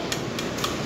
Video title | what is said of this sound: JAPAN SURPLUS ROAD BIKE - ALL ITEMS UNDER NEGOTIABLE | Oh, ito yung carbon lodi. Diba, magkaiba yung tunog.